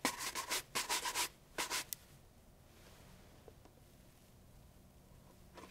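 A brown leather loafer fitted with a wooden shoe tree is held hollow in one hand and brushed briskly across the upper with a wooden-backed bristle shoe brush. A quick run of bright, scratchy bristle strokes sweeps back and forth for about two seconds and ends in a sharp click. Near-quiet follows, with a faint tap and a soft brush stroke returning at the very end.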